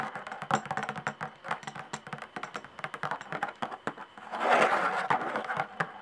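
Long nails tap quickly across the hide head of a skin-head tambourine with a hollow wooden frame, making a steady run of light, dry taps. Past the midpoint the sound swells into a louder, denser rustling burst, then returns to scattered taps.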